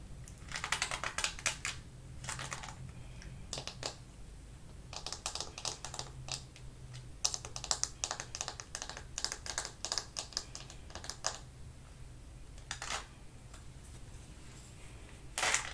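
A small purple plastic paddle hair brush with a floral-print hollow back and a cushion of ball-tipped pin bristles is held in one hand while long painted nails tap its back and scratch across the bristles. Bursts of rapid, crisp, bright clicking and scratching come and go over a faint low hum, sounding much like fast typing.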